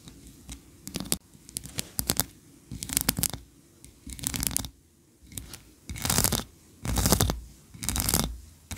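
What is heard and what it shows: Long nails scratch along the tiered ridges of a solid white, ribbed wax tree-shaped candle, making short, dry, bright scratching bursts. Toward the end, fingers flutter near the top of the candle, producing longer, louder, breathy rustling swishes.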